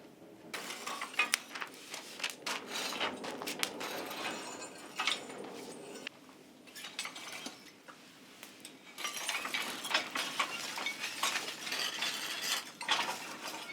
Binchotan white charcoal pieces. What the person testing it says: 叩くと金属音が鳴るほど硬いのが特徴